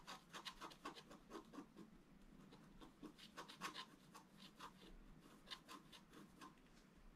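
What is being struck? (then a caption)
Scratch art paper card with wooden stylus. A wooden stylus scratches repeated strokes into a flat black-coated scratch art card, near the lower right of the drawn gate. A quiet, steady series of short, dry, bright rasps is heard, each stroke a brief scratchy burst centered around 1.1 kHz.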